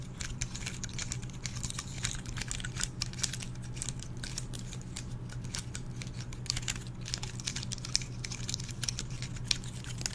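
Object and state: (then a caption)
Dry pine cone. Fingertips and nails repeatedly scratch and flick the open woody scales of a small, dry, brown pine cone held close to the microphone. The result is a continuous stream of quick, dry, bright ticks and crackles with almost no ring, over a steady low hum.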